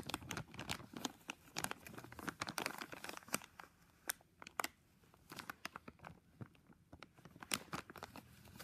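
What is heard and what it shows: Fingertips squeeze and crinkle a thin, full clear plastic bag holding a small black-and-white flexible tripod. It makes dense, bright, sharp crackles that thin out into sparser snaps with quiet gaps midway, then pick up again toward the end.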